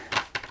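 A part of an XM Studios Joker Orochi resin collector statue, possibly the cape, that looks like PVC but is resin, is tapped three times, giving short, bright, hollow clicks centered around 1 kHz that die away almost at once. The piece sounds hollow, so it could have shattered if crushed in its packaging.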